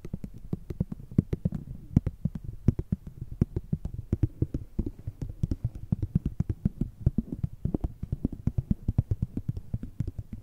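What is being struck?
Filled plastic cosmetic sample sachet.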